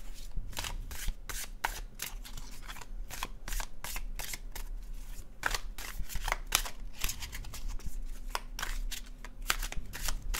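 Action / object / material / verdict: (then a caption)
shake / paper tarot card deck / cardstock / none. A dark blue cardstock paper tarot deck is overhand shuffled with the fingertips, the cards sliding against each other. The result is a steady run of quick, crisp, bright riffling snaps over a soft, low hum.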